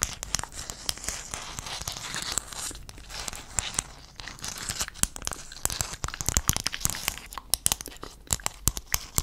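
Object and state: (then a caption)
Mosaic tile sheet scratched and tapped. A hand-sized sheet of small silver-blue hexagon mosaic tiles is held upright in front of the mic while fingertips and nails scratch and tap across the tile surfaces. The result is a dense, bright, crackly scratching texture broken by many sharp, dry clicks that stop instantly with no ring.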